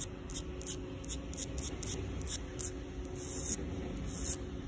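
Long pink nails, with rings on the fingers, scratch a rough, solid outdoor concrete sidewalk. The result is a series of short, bright, raspy scratching strokes in quick succession over a steady low rumble and a faint, constant hum.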